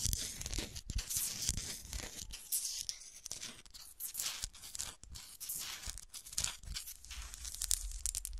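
Long nails scratch the textured surface of a small, solid, frosted glass golf shoe ornament, first held and then set upright on a table. The result is a dense, bright, rasping scratch made of rapid, crackly strokes with some low handling thumps beneath.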